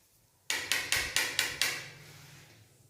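The lower part of a granite wall tile is knocked six times with a lighter, giving short, bright taps with a slight ring that fade quickly. The tile is solidly bonded and fully filled behind, with no hollow spots.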